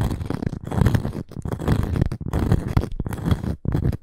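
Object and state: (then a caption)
Cork and wood coaster scratched with nails. Long nails scratch and tap the cork face of a small, round, solid cork coaster with a wood edge, held in both hands. The result is a dense stream of dull, low-heavy rasping scrapes broken by soft, quick taps, with almost no bright content and no ring after each stroke.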